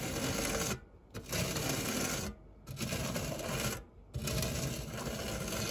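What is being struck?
Metal fluted tart tin with silicone spatula.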